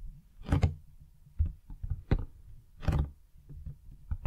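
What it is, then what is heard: Cardboard box tapped and scratched. A large, hollow printed cardboard retail box for a Blue Yeti X microphone is held in the hands and turned sideways while fingertips and nails tap and scratch its sides. The result is a series of dull, hollow low thumps, a few broader scratchy bursts that reach high, and short quiet pauses in between.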